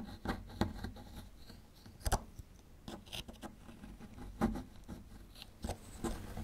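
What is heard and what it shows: A small metal chisel scrapes at a small solid plaster fossil-excavation block, breaking off plaster chunks. Quiet, dry scratching and rasping is punctuated by short crunchy snaps and clicks as pieces crack away, each dying out almost at once.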